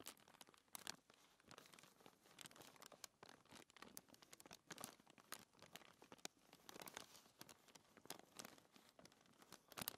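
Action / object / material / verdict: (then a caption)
scrape / thin paper sheet / paper / none. Fingertips with long nails rub and scratch a thin white paper sheet resting on a table. The result is a dense run of quiet, crisp scratching and crinkling bursts with a bright, papery hiss and almost no low end.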